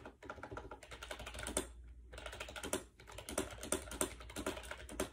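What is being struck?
Plastic wireless keyboard with round keycaps.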